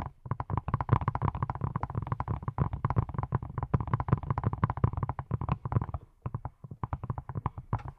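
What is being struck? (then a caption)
Silicone brush. Fingertips wearing silicone rubber pads tap rapidly on a hand-sized, yellow, silicone pineapple-shaped brush with side bristles that appears hollow. The result is a dense run of soft, dull, low thuds with almost no ring, broken by a brief pause around the six-second mark before the tapping resumes.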